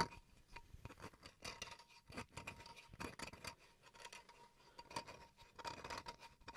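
Fingernails scratch across the grain of a small, flat, solid wooden cutting board held in both hands. Short, dry scraping strokes come in a quick irregular run with brief gaps, a bright rasping texture and little low end. A faint steady tone near 930 Hz sits under the scratching throughout.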